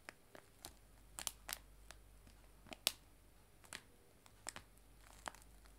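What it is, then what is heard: Cellophane bag of loose tea. A clear cellophane bag of dried loose tea lying flat on a table is tapped with fingertips and long nails. The result is a quiet, irregular series of sharp, bright crinkling taps that stop instantly with no ring, over a faint background hiss.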